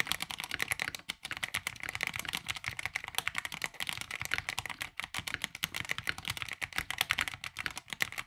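Both hands type continuously with their fingertips on a tape-modded 65% NYK Nemesis Daemon mechanical keyboard with a black plastic case and ABS keycaps. The result is a fast, steady stream of short, bright, clacky keystrokes with almost no low end and very little ring, broken only by brief pauses near 1 and 5 seconds.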